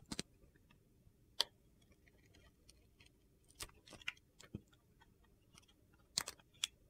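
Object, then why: Glitter-coated soap bar scraped with a steel blade. A steel utility-knife blade shaves and peels the green glitter coating off a hand-sized solid bar of white soap held in a hand with red nails, scraping the soap beneath. Short, crisp, bright scraping clicks come in scattered bursts over a quiet background, each dying away almost instantly.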